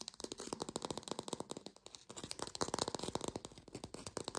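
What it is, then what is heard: Fake plastic lemon. An artificial lemon, probably plastic or foam, is tapped fast with long pink nails, making a rapid stream of dry, hollow clicks. The taps are short with almost no ring, centered in the mid range around 470 Hz with a bright edge. The tapping swells louder and denser in the second half.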